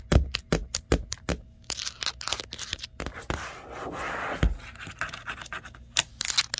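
Long nails tap and then scratch and trace across the flat side panel of a large, hollow, printed cardboard TV box. Sharp, dry taps with a low hollow thump open the clip, giving way to rasping scrapes and a sustained scratchy hiss. Irregular taps return at the end.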